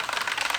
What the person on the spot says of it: you'll hear that rattle I'm gonna have an agitator in there it'll help keep it from me settling together